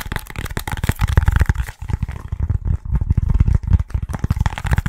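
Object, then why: Foam pool noodle section. A short, hollow, yellow foam pool noodle section is held in both hands and tapped and squeezed with the fingertips. It makes a rapid, continuous run of soft, deep, muffled thumps with brief crinkly squeaks of the foam, with almost no ring after each tap.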